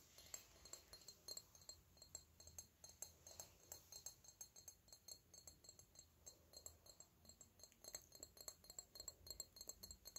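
A small, hollow, dark purple glass perfume bottle with a red cap, held in the hands, is tapped steadily by fingernails for about ten seconds. Each tap is a quick, bright, high glassy clink with only a brief ring, over a faint low background hum.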